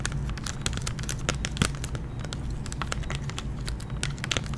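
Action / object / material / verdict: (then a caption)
tap / clear plastic blister pack on a cardboard card / plastic / none. A hand-sized clear plastic blister pack on a printed cardboard backing card, holding a giant gummy bear lollipop, is held in one hand and tapped and scratched with long painted nails. It gives a continuous run of quick, bright crinkling clicks and scratches over a steady low hum.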